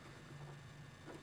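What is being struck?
Nothing is struck.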